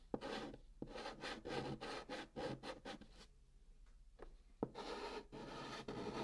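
A hand makes short, repeated strokes with pink chalk inside a curved band on the surface of a hollow brown cardboard box. The chalk gives a dry, bright scratching rasp in quick bursts, pauses briefly with a few faint taps, then resumes with longer strokes.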